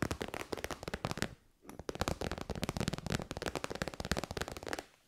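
Long white nails tap quickly on the end and side of a hollow, shiny pink metallic faux-leather pouch. The taps come as rapid, dry, crackling clicks with a soft low thump. They fall in dense runs, with a brief pause early on and a quiet tail at the end.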